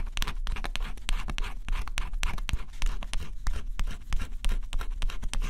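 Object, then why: Coated cardboard scratch-off puzzle. A small stylus held in the fingers scratches the black coating off a flat, thin coated cardboard scratch-off jigsaw puzzle. Quick, irregular strokes make a dry, bright scratching over a steady low rumble.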